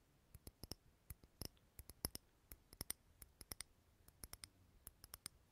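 Fingernails tap a small clear glass jar candle filled with green wax, close to the mic. Quick, dry, bright clicks come at an uneven pace with almost no ring, over a quiet low hiss.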